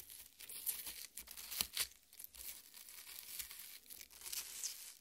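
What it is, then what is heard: Watermelon flesh scratched. Long red-painted nails dig into and scratch the exposed red, juicy flesh of a half watermelon with green rind resting on a plate. The result is a quiet, bright, wet crackling and tearing texture, with irregular short bursts and almost no low end.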